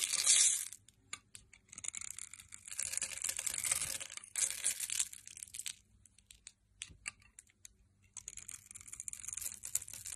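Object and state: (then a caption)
Glycerin soap bar being scraped. A metal blade scrapes along a hand-held, hand-sized solid red translucent glycerin soap bar that is pre-scored in a grid, shaving off small cubes. The sound is a bright, dry, crackling scrape with almost no low end, heard as longer grating strokes broken up by short, sharp crunchy flicks and near-silent gaps.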